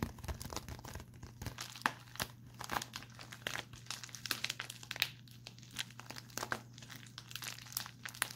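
A small, empty-looking pink metallic foil padded bubble envelope is held in both hands and crinkled and scratched with fingertips and short nails. Dense, bright crackling and crinkling comes in quick, irregular bursts, with sharp scratchy peaks over a steady low hum.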